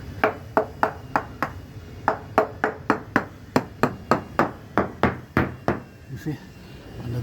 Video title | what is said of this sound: Silverton 36 Hull Inspection & Antifouling - Hong Kong Boat Maintenance Guide | there's some tanks and things, so you can hear a little different, but overall is solid.